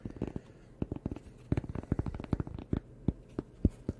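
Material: Cork.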